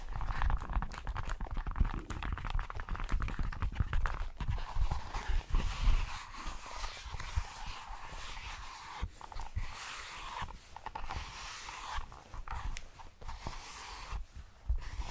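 Long manicured nails tap and scratch the surface of a small, flat, terracotta-colored leather envelope with a flap and stud, hollow and apparently empty, held in both hands close to the microphone. Dense, dull low thuds and soft scratchy rustles follow one another throughout, with short, quickly fading hits.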